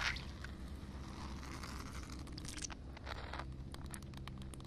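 Long painted nails tap and scratch a flat, solid outdoor concrete slab covered in a shallow film of water. Bright, wet scraping strokes and soft squishy taps sit over a steady low hum.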